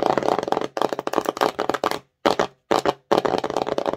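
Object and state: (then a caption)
Glossy cardboard box. Long nails rapidly tap and scratch the front face of an empty, colorful glossy printed cardboard slime box held in both hands. The result is dense, dry clicking and scraping in quick bursts, sitting mostly in the midrange with little low or high content. It is broken by two short silences near the middle.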